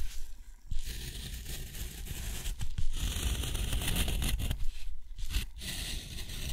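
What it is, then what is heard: Textured watercolor paper scratched by a steel nib. A steel nib scratches long straight lines across a sheet of thick, rough white textured watercolor paper, drawing a box. The strokes come as dry, gritty scraping with a papery rustle over a steady low rumble, and brief pauses between the lines.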